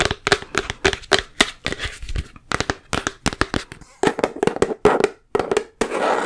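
A full, large plastic Peter Pan peanut butter jar with a yellow plastic lid is held in the hands and tapped with long nails and fingertips on its body and lid. It makes a quick run of sharp, clicky hollow taps with a faint ringing tone under them, ending in a brief rougher, noisier rustle.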